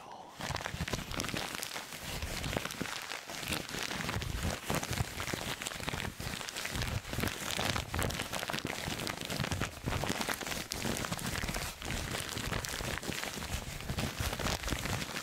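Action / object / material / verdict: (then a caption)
scrape / thin paper wrapping sheet / paper / none. A loose, crumpled sheet of thin red-and-white striped Christmas wrapping paper is held in both hands near a fluffy microphone and crinkled and crumpled with the fingertips. A dense, continuous stream of crackly crinkles runs at a steady level for about fifteen seconds. The crackle has a soft low rustle underneath and a bright papery edge on top.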